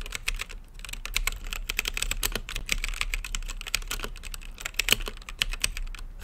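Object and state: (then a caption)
Plastic mechanical keyboard. Fingertips type continuously on a mechanical keyboard with plastic keycaps in a clear acrylic RGB case. A rapid, uneven stream of short, bright clacks plays over a faint, steady low hum, each keystroke dying away almost instantly.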